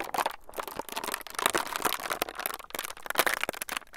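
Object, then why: Thin plastic film sheet. A thin, clear, crinkly plastic film sheet is stretched and squeezed between the fingertips of both hands close to the microphones. It gives dense, continuous crinkling and sharp bright crackles with almost no low end, swelling and easing in loudness throughout.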